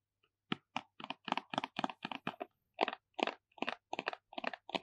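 Short fingertips tap and scratch the surface and edges of a small, hollow, square purple cardboard MAC Magnificent Moon eyeshadow palette box with gold foil print, held in both hands. The result is a steady run of crisp, dry ticking and crunching bursts with no ring after each one.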